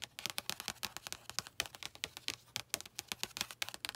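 Long acrylic nails tap quickly with a typing-like motion on the glossy card front cover of a blue paperback novel lying on a lap. About 29 short, dry clicks come in a rapid, uneven run, bright and crisp and centred near 3 kHz. Each click dies away almost instantly, with very little low end.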